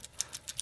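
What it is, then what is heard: Solid, non-tinny steel watch bracelet. A beads-of-rice steel bracelet with clasp on a Dificiano Marlin dive watch, thinner, more flexible and tapering to 18 millimeters at the clasp, is shaken. It gives a quick series of short, bright, high metallic clinks with almost no low end. The bracelet and clasp sound solid and not tinny.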